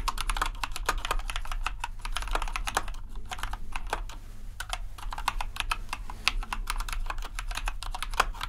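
Both hands tap the keys of a compact white plastic RGB mechanical keyboard with their fingertips. A rapid, continuous stream of short, sharp clacks with bright, high attacks centered around 1 kHz sits over a steady low hum. The taps stay fairly even in level, with a brief lull near the three-second mark.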